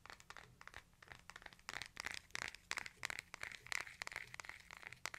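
A hand-sized smartphone with a glass screen and a case is held horizontally in both hands while fingertips and nails tap the case and edges. A quick, irregular run of dry, bright clicks and crisp taps follows, each dying away almost instantly, with a faint crinkling texture between hits.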